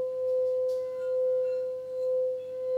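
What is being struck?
Nothing is struck.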